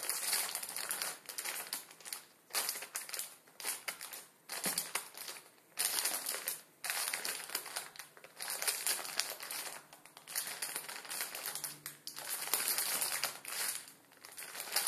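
A plastic film ramen packet holding crushed noodles is crinkled and pressed with the fingertips on a wooden table. Dense, bright crackling and crunching comes in bursts separated by brief quieter gaps, with almost no low end.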